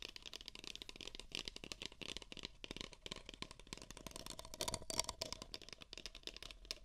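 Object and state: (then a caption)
Empty paper cups tapped and scratched with nails. Two identical empty, hollow beige paper cups, pressed against microphone ears, are tapped and scratched with nails. The result is a dense, continuous run of quick, dry crackling taps and scratchy rustles that are bright and hissy, with little low end and almost no ring.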